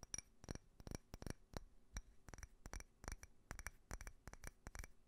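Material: Glass.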